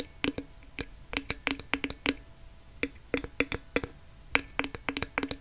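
A glass jar filled with dark loose contents is held upside down while fingernails scratch and tap its wide black plastic lid and the paper label on it. About two dozen short, sharp, bright clicks and scrapes come in uneven bursts, each with a brief ringing tone and quick decay. Quieter hiss fills the gaps between them.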